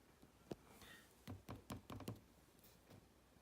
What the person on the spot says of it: has a hollow sound when I tap the bottom of it